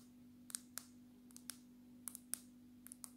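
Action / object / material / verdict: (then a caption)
tap / glass smartphone surface / glass / none. Long natural nails tap the glass surface of a black glass-backed smartphone, held sideways and then upright. A series of sharp, bright clicks with almost no ring plays over a quiet background with a steady low hum.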